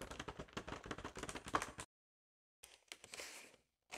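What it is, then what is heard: Inflated latex balloon. Long acrylic nails tap and rub the surface of a large, hollow, air-filled purple latex balloon, making a quick run of soft, dry, clicky taps with short, muffled rebounds. After a brief silence, a small brush is brought to the balloon, giving a breathier, brighter scraping hiss before it fades, and another sound begins at the end.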